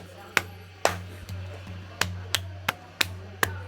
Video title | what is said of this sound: DIJAMU CEWEK TUJIA CHINA DI HUTAN BATU PURBA 460 JUTA TAHUN ❗️ Suobuya Stone Forest Enshi | batu yang ini kalau ditepuk, dia bisa berbunyi. Kedengaran ya? Tapi kalau batu yang lain nggak bisa. Gak ada bunyinya.